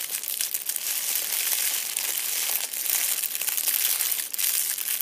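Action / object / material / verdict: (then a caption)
scrape / foil crinkle ball / metal foil / none. A fist-sized purple metallic foil crinkle ball is held against a fabric seat while a hand squeezes and crumples it repeatedly. The result is a steady, dense crinkling with bright, high hiss and no low end, broken by sharper crackles.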